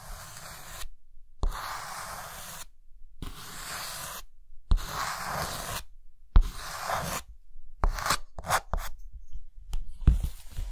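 A white chalk stick rubs and scratches lines on a green chalkboard, shedding chalk dust. Dry, gritty rubbing strokes come in bursts separated by short silences, each often starting with a soft low tap. Toward the end the strokes become shorter and quicker.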